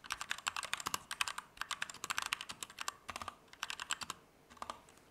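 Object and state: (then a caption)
Mechanical keyboard. A compact Keychron K2 V2 mechanical keyboard with Gateron Red switches, plastic keycaps and an aluminum frame is typed on fast with the fingertips of both hands. About thirty crisp, bright keystrokes come in quick bursts with short pauses. Each clack is short and dry, with almost no low end.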